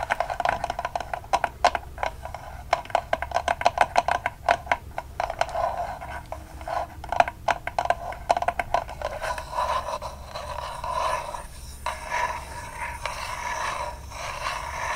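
A small spool of polyester/cotton wired ribbon with cardboard end discs is held in the hands while fingernails tap and scratch the ribbon and the cardboard end. For the first nine seconds, dozens of quick, dry, papery taps come in bursts. They then give way to softer, steadier scratching and rustling, with a mid-range tone around 700 Hz and almost no ring.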